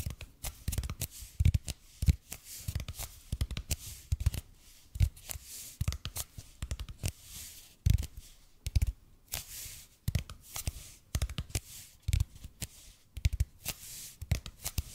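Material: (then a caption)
EPP foam. Fingernails scratch and tap the surface of a red and white speckled expanded polypropylene (EPP) foam roller, about 30 cm long, held in both hands. Dozens of short, dry taps with dull low thuds die away almost instantly, spaced unevenly over soft, bright scratching hiss. The whole clip is quiet and close.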